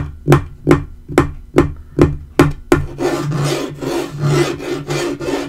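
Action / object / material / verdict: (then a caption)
tap / laminate table top / laminate / none. Fingertips tap the flat surface of a dark wood-grain laminate portable table top seven times in a steady, dull, knocking rhythm. Fingernails then scratch and rub across the board in a continuous, bright, rasping texture that swells and fades until the end.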